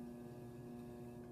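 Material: Nothing is struck.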